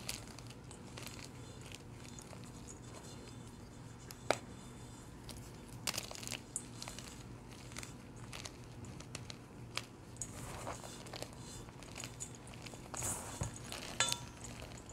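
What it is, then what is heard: Gym chalk blocks being crushed by hand. Crumbled pieces of soft, powdery blue gym chalk piled in a metal bowl are grabbed, squeezed and crushed between the fingers and palms of both hands, releasing powder. Quiet, dry crumbling and crinkling crackles come in irregular bursts, with a few sharper bright snaps over a steady low hum.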